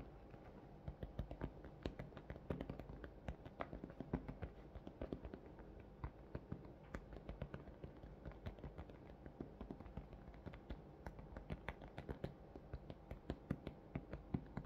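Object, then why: Thin clear plastic clamshell package. Fingertips and nails of one hand tap rapidly and irregularly on the front of a large, hollow, thin clear plastic blister clamshell shaped around a pink plush toy. The many quiet, dry clicks and soft thumps die away almost instantly, with no ring, over a faint low background hum.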